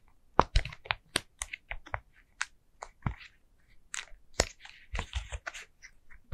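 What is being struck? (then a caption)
Silicone pop-it fidget toy. Long nails tap and press the hollow bubbles of a flat orange and green silicone pumpkin pop-it fidget toy. The result is an irregular run of short, dry, crunchy clicks and soft pops, each with a dull low thump and a bright crackly edge, that stop dead with no ring.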